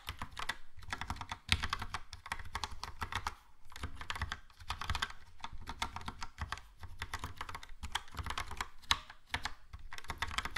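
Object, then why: Plastic mechanical keyboard. A Logitech POP Keys plastic mechanical keyboard, with a yellow plastic case and round plastic keycaps, is typed on with fingertips. Rapid bursts of short, crisp clacks with a low thocky body run in steady runs, separated by brief pauses. Each keystroke dies away almost instantly.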